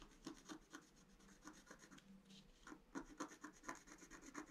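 A wooden stylus scratches the flower area of a flat scratch-art sheet, black coating over colored paper, in short strokes. The result is a quick, uneven run of dry, raspy scrapes with a faint low tone, bright rasping edges and no ring after each stroke.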